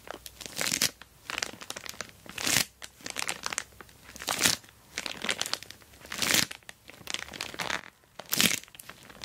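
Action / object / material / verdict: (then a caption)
scrape / plastic mailer bag wrapping a box / plastic / none. Long black nails tap and scratch an orange plastic Temu shipping bag wrapped around a boxed dual-camera dash cam lying on cloth. Bright, crisp crinkling and crackling come in irregular bursts, with quick ticks between them and almost no low end.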